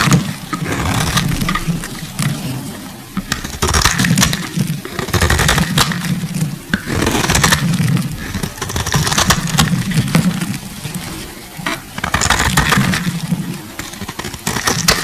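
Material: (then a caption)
Soap. A solid pink bar of soap, held in fingers wearing cut-resistant finger cots, is scraped and shaved with a metal box-cutter blade, sending flakes falling. Continuous dry scraping and crackling comes in bursts with a low rumble underneath and bright crisp edges.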